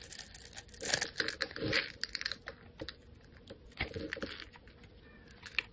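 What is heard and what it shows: A metal utility-knife blade scrapes and shaves the face of a solid, hand-sized oval bar of pink soap held in the hand, cutting off fine shavings. The result is a string of dry, crisp, bright scratches and crackles that come in quick bursts, densest near the start and again around the four-second mark, with little low end.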